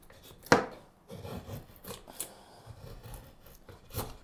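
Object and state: Wooden spoon blank being carved.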